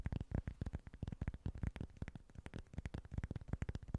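Short nails tap and scratch quickly across a small flat cork board. The result is a rapid, quiet stream of dull, soft, low-heavy taps that die away almost instantly, mixed with faint brushy scratching between them.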